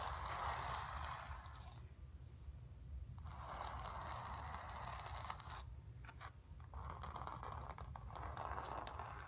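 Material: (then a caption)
Canvas. Long nails scratch across the surface and lower edge of a painted stretched canvas. The result is bursts of dry, rasping scratching with a strong midrange tone and bright crackle, separated by quieter pauses over a steady low rumble.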